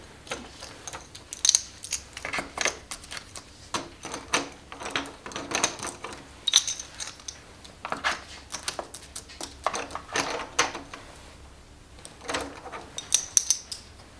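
A small stack of solid plastic or composite poker chips is held and shuffled in the hands, with long-nailed fingertips riffling and clicking the chips together. Dozens of sharp, dry, bright clicks come in irregular bursts over a faint steady hum, each one dying away almost instantly with almost no low end.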